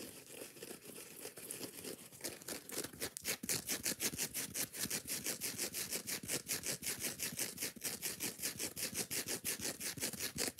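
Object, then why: Foam kitchen sponge with nylon scouring pad. Long nails scratch fast and hard across the green nylon scouring side of a foam kitchen sponge while the sponge is also squeezed in the hand. The result is a rapid run of bright, raspy scrapes at roughly three per second, growing louder and more evenly spaced after the first few seconds, with little low-end body.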